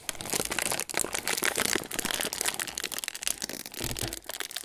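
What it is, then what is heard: Foil cracker sleeve crinkled. Fingertips of both hands pinch and crinkle the folded end of a hollow metallised plastic/foil Ritz cracker sleeve, with crackers inside, sticking out of its cardboard box. A dense, continuous run of sharp, bright crackling and rustling with quick crisp snaps goes on throughout, with little low end.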